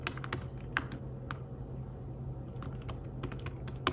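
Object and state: Fabric-covered tablet keyboard.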